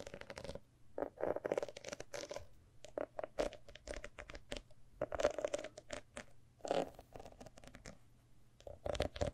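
Long nails scratch and tap the decorated cover and gilt page edges of a large, old, thick hardcover book. The result is a quick series of dry, scratchy bursts and short taps with a faint hollow tone around 600 Hz and almost no ring.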